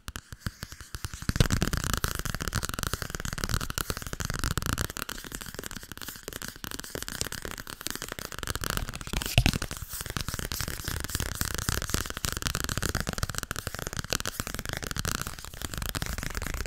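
Fingers tap rapidly on the softcover book "Overdracht en tegenoverdracht," producing a dense, steady stream of short, dull taps. The taps are heavy in low thuds with a papery, crinkly edge. After a quiet first second the tapping keeps a fairly even level, with a few louder taps along the way.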